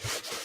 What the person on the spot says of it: you hear how crispy that is